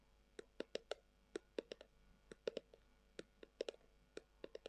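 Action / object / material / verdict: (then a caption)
tap / leather-covered tubular glasses case / leather / none. Long acrylic nails tap and scratch a brown, textured, leather-covered tubular glasses case that is hollow. About nineteen short, quiet clicks come in uneven bursts, each with a hollow tone around 450 Hz and a brief bright edge that stops almost at once.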